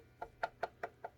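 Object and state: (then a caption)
Solid Micarta guitar neck. Five knocks on the solid Micarta neck of a GOC "Vajra" headless six-string guitar, each a short, dull, woody tap centered around 700 Hz that dies away almost immediately. The neck sounds solid and wood-like.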